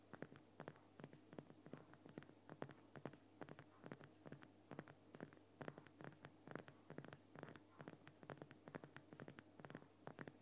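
Fingertips and nails tap and scratch at the lower sides of a large, lit Himalayan rock salt lamp, a solid crystal block. Rapid, irregular clusters of short, dry taps die away almost instantly, mixed with faint scratchy rubbing over a steady low hum.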